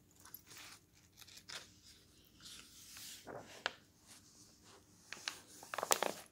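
A glossy paper magazine rests on a table as a page is turned, then fingertips and a palm rub along the glossy paper. Soft, bright rustling and swishing strokes build to a few sharper, crisp crackles of paper near the end.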